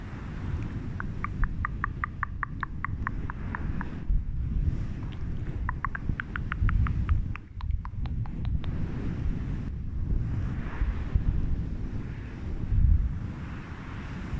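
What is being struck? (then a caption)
Faux fur microphone windscreen. Fingertips and long red nails rub and scratch a grey-white fluffy faux fur windscreen over a microphone, producing a deep, muffled rumbling rustle. Two bursts of quick, crisp scratching clicks cut through, one early and one near the middle, before the sound settles back into a soft, low brushing.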